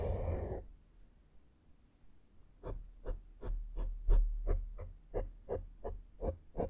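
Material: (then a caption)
Foam. A small flat makeup brush strokes a black porous foam microphone windscreen, starting with a brief loud, broad rustle and then a short quiet pause. Twelve soft, muffled, low brushing swishes follow in a loose rhythm, with some strokes stronger than others.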